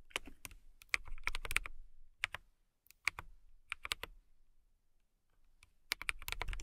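A compact transparent acrylic mechanical keyboard, with clear plastic keycaps and a clear case, is typed on with long nails and fingertips. Bright, sharp clicks and clacks come in irregular bursts over a soft low thump, and each keystroke dies away almost instantly. Brief quiet pauses fall between the flurries.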